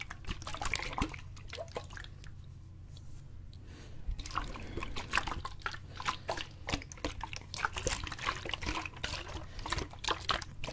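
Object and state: Plastic bottle partly filled with water.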